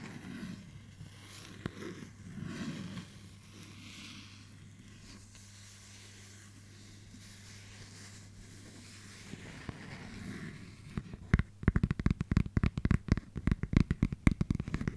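A small, flat, round, hollow clear plastic case, about palm-sized with a printed paper label inside, is held up and scratched and tapped on its lid and rim with long dark-painted fingernails. Soft, quiet scratching over a steady low hum fills the first ten seconds. It then gives way to a burst of quick, sharp, irregular clicking taps that ring very briefly.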